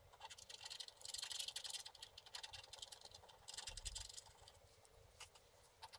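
A wooden stick scratches in strokes across a flat wax-coated scratch art card held flat by the left hand. Dry, bright scraping comes in rapid, uneven bursts, loudest near the start and again around the middle, with thinner scratches in between and a few sharp ticks near the end.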